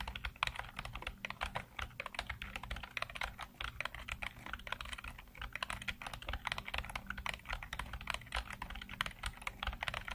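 Fingertips rapidly type on a black plastic computer keyboard with hollow keycaps, producing a dense, steady stream of short, bright clacks that die away almost instantly. A faint low hum sits underneath the continuous typing throughout.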